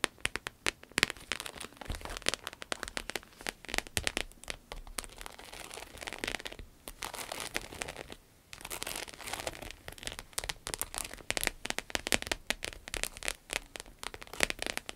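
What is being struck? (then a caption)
Textured vinyl wallet. A small, flat, glossy red croc-embossed vinyl wallet with a zipper, looking empty, is held and then set on a table while long acrylic nails tap and scratch it. The result is a dense run of quick, dry, bright clicks and crinkly scratches, with a brief quieter pause just after the midpoint.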